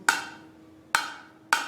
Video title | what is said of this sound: MINERALS AND ENERGY RESOURCES PART - 1 GEOGRAPHY (GRADE - 10) | ये एक स्टील की बोतल है, देखो आवाज आई